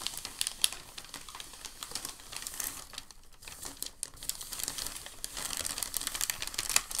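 Fingertips hold the edge of a large, crinkled white packing paper sheet, then press and rub its surface. Dense, bright crinkling snaps and rustles continue throughout, with sharper crackles standing out and a brief quieter stretch near the middle.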